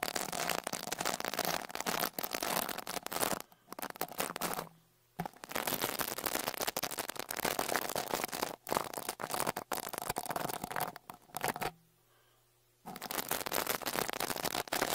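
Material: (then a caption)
Metal mesh. A small dark rat-tail brush with a wooden handle is brushed over the left metal mesh grille of a Tascam Portacapture X8's X-Y microphone capsules. It produces dense, bright, crackling scratches right at the microphone. The brushing stops briefly near 5 seconds and again around 12 seconds before resuming.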